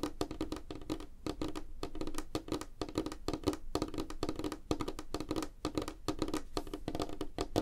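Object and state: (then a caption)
Light wooden tabletop. Fingertips and nails of both hands tap fast on a flat, solid, light wooden tabletop. The result is a rapid, dense patter of short, dry knocks with a woody tone around 300 Hz, a soft low thump beneath, and quick clicks that die away almost at once.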